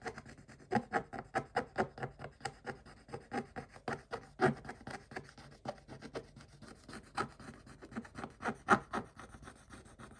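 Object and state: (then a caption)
Scratch-off coated paper page. A stick is scratched back and forth across the same scratch-off coated paper page, making a quick run of about thirty short, dry rasping strokes. Each stroke is a brief, bright scrape that stops almost at once, with a quiet hiss between strokes.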